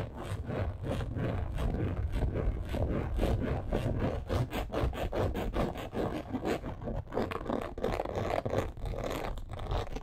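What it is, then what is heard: Embossed leather purse being scratched. Long acrylic nails scratch quickly across a black crocodile-embossed leather purse. The result is a steady run of rapid, dry scraping strokes with a dull, low-heavy texture and almost no bright edge.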